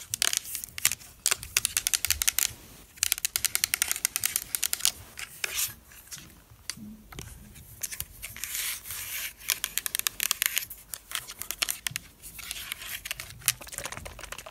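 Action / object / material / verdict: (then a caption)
tap / plastic spray mist bottle / plastic / none. Long black nails tap and rub the printed body of a pink plastic spray mist bottle with liquid inside. Rapid bursts of crisp, bright clicking mix with scratchy rubbing, each tap dying away almost instantly, with short pauses between flurries.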